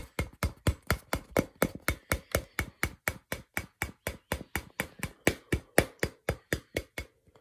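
A hand-sized hollow purple rubber or plastic ball with a white label, held close, is tapped with fingertips and fingernails in a steady run of 29 quick taps, about four per second. Each tap is a short, dry, hollow knock with a low thump and a bright clicky edge that dies away almost at once, and the run ends with a couple of faint soft taps.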